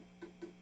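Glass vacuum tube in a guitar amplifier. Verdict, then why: Sound. Two light pencil taps on a glass vacuum tube, possibly the phase inverter, in an Egnater Rebel 30 MKII guitar amplifier, each a faint, short, dull knock around 350 Hz over a steady low hum. The taps die away almost at once with no microphonic ringing, so the tube is okay.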